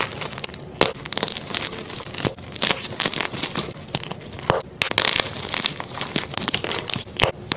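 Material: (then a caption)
Magnesium carbonate. A flat, white, solid and dry magnesium carbonate gym chalk block is snapped and crushed between fingers and thumbs, breaking and crumbling into pieces over a pile of powder. Sharp snaps and dry, bright crunching and crackling come in quick bursts, mostly high-pitched with little low end. The block ends up in crumbled fragments.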